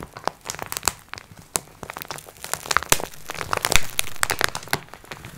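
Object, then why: Plastic-wrapped multipack of sponge cloths. A plastic-wrapped multipack of sponge cloths lies flat while long nails scratch across its crinkly plastic surface. Dense, rapid crinkling and crackling come in sharp, bright bursts over a faint low rumble, with brief scraping textures between them.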